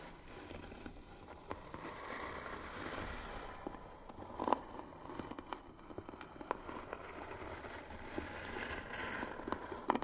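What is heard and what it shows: A small hollow white-painted wooden box with pearl-bead trim and brass hinges, lid closed, is scratched slowly and hard with the short natural fingernails of both hands. The result is a steady, dry, crackling scrape centred in the midrange around 1 kHz, broken by sharp, brief clicks as the nails catch.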